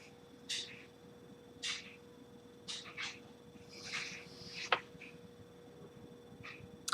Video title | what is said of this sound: Logitech g303 Daedalus Apex Gaming mouse review by competitive FPS player | It has some sensor rattle.